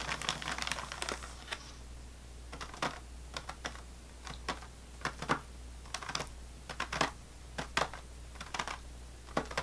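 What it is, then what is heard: Plastic-wrapped sleeve of saltine crackers. Fingernails of both hands tap on top of an unopened sleeve of saltine crackers in its crinkly plastic wrapper. A dense flurry of crinkly clicks at the start thins into scattered, sharp, bright taps that die away almost instantly. A steady low hum sits underneath throughout.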